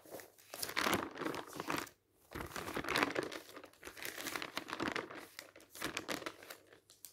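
Fingers turn the pages of a glossy paper fashion catalog or magazine lying open, producing smooth rustles and crisp crinkles. Bursts of papery noise reach into the high range, separated by brief quiet gaps, and most of the energy sits in the mids with very little low end.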